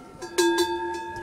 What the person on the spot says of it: Ça, c'est un son long, mais un son aigu.